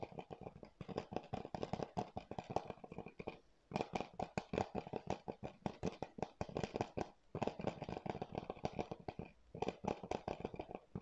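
A hollow, hard blue plastic PS4 game keep case is held in both hands close to the mic while fingertips and nails tap and scratch its surface. Quick, dry clicks and scratchy rustles come in rapid bursts, with short pauses in between, and the taps die away almost instantly.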